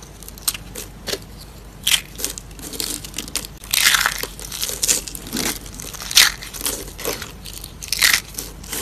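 Hollow, rolled, blue-and-white striped dry soap curls resting on wood are squeezed and crushed into small pieces by a hand with long pink nails. The result is a run of bright, crisp crunches and crackles with quieter crumbly rustling in between.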